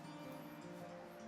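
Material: Nothing is struck.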